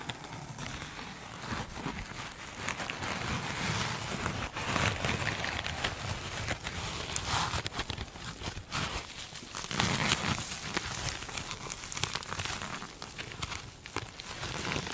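A glitter mesh foam sponge is held and then set down while long nails scratch and squeeze it. The result is a steady, dense crackling and rustling texture with bright, scratchy detail over a soft low rumble, swelling and easing in loudness throughout.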